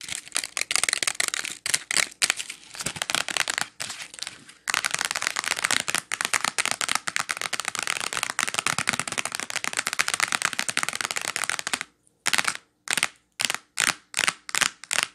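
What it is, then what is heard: Plastic blister pack of wax melts. Long nails tap rapidly on a small, clear plastic clamshell package of wax melt cubes with a paper label, first held up and then laid on a towel. The taps are crisp, bright plastic clicks with almost no low end, coming in a dense, continuous flurry for about twelve seconds. After a brief silence, they slow to a few spaced single taps.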